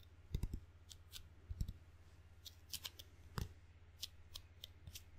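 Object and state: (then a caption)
Rubber-faced wooden ping pong paddle. Fingertips pat and pull away from the sticky red and black rubber faces of a wooden-bladed table tennis paddle, making soft, dull taps with bright, crackly tack-release clicks at an irregular pace. A steady low hum sits underneath the quiet, close sound.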